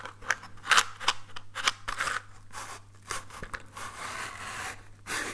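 A small, hollow orange cardboard matchbox, held in both hands, is scratched with fingernails. It makes a run of short, dry, bright scratching bursts, then a longer continuous rasp and one last burst. A faint steady low hum runs underneath.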